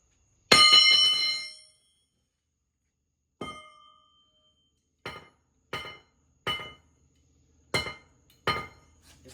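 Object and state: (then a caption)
Intact steel camshaft, not broken. A billet steel camshaft is dropped and struck on concrete to test whether cams are fragile, giving seven separate bright metallic clinks and the start of another at the very end. The first strike is the loudest and rings longest, with a clear tone around 1.2 kHz and higher overtones. The camshaft does not break; the concrete is damaged instead.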